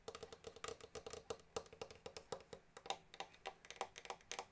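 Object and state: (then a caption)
Pearloid plastic accordion casing. Fingertips and nails tap and scratch the shiny plastic pearloid casing and metal grille of a small blue pearloid-covered accordion, a hollow body held in a lap. About 32 quiet, quick, clicky taps sound in an uneven rhythm, each dying away almost at once with a faint hollow tone.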